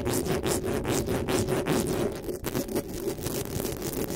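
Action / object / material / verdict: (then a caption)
scrape / metal mesh microphone grille / metal mesh / none. Long nails rapidly scratch and tap the metal mesh grille of a black desktop microphone, making dense, raspy strokes with bright, high scraping streaks over a steady low hum near 370 Hz. The rhythm is uneven and continuous, with a brief dip in the middle.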